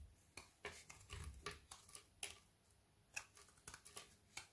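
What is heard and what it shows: A metal knife blade scrapes and shaves a thin leftover strip of a frozen Milka milk chocolate bubble bar held between the fingers. About fourteen sharp, bright, brittle scraping crunches are heard, each dying away almost instantly, with quiet gaps between them.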